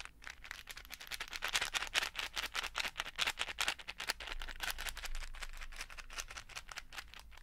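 A clear plastic case full of small colorful beads is held up, tilted and shaken so the beads rattle, and tapped with fingertips. The result is a quick, uneven stream of short, dry rattling bursts, bright and crisp with little low end and almost no ring, at a fairly quiet level.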